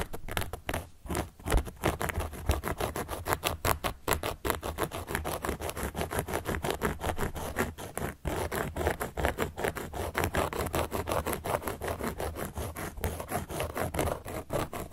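A carving tool, held upright by long nails, traces and scratches across the surface of a large, round, solid cork board. The result is a steady run of quick, uneven, dry scratching strokes with a soft low rumble underneath and brief accents throughout.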